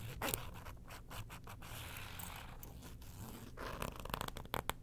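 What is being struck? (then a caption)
Faux leather wallet interior. Long nails scratch the inner panels of a small zip wallet opened to its orange faux leather interior, which has a clear ID window and an attached keyring. A steady, dry scratching rasp runs throughout over a low rumble, with sharper bright scrapes and ticks near the start and end.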